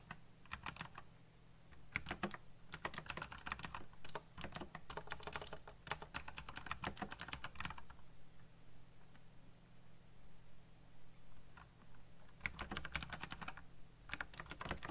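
Fingertips type on a black backlit mechanical computer keyboard with plastic keycaps, giving clicky presses. Quick bursts of sharp, bright key clicks come in several runs with short pauses between them, over a low steady hum.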